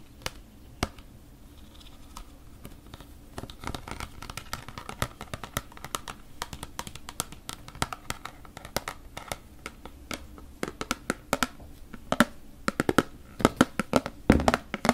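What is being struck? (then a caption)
Plastic storage basket. Long painted nails tap and scratch the sides and flat bottom of a small, empty, hollow white plastic storage basket with a perforated lattice pattern. Sharp, dry plastic clicks come in quick, irregular bursts over faint scratching and a steady low hum, each tap dying away almost instantly. The taps grow louder and more frequent toward the end.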